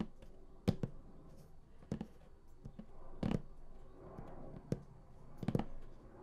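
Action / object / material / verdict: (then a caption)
tap / large printed cardboard box / cardboard / none. Both hands tap across the lid of a large printed cardboard collector's edition game box lying flat, using fingertips and nails. Quiet, irregular taps come as short, dry, low thuds with almost no ring, some falling in quick pairs.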